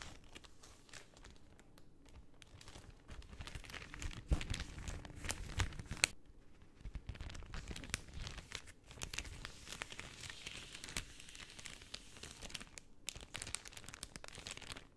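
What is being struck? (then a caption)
Thin cellophane film. A thin, translucent pink cellophane sheet is held up and crinkled between fingers with long painted nails. It gives a steady, quiet stream of dense crinkling and crackling with bright, sharp edges, with louder bursts in the middle of the clip.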